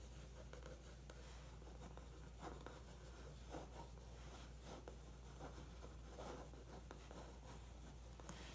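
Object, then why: Pencil point on glossy paper magazine page. A pencil point scratches along a photo figure on a glossy magazine page, tracing it. Quiet, dry scratching strokes come in soft bursts over a steady low hum.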